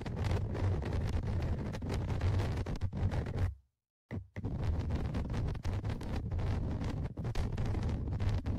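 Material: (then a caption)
Metal mesh. Tweezers scratch and rub the top microphone grille of a Tascam DR-100mkIII recorder, a metal mesh on a plastic body, producing dense, rumbly contact noise concentrated in the low end. The scratching stops for about half a second near the middle, then resumes just as steadily to the end.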